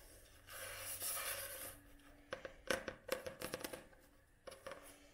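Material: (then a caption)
Card, paper. Long nails scratch across the glossy card cover of a solid Penguin paperback book held upright, making a soft, bright hiss for about the first two seconds. Then the nails tap the cover in a quick, uneven series of crisp, short clicks with a faint midrange ring, ending with a final pair of taps.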